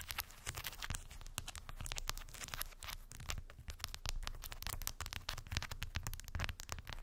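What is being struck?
Wooden beads on a cork board.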